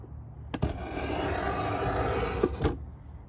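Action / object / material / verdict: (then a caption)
scrape / pine wooden box edge under a metal scraper / pine wood / none. A metal Stanley 66 beading scraper, gripped in both hands, is drawn along the top edge of a large hollow pine box, cutting a bead into the wood. A sharp catch starts a steady, rasping, broadband scrape lasting about two seconds, with a hollow low body from the box. It ends in a couple of quick knocks as the tool lifts away.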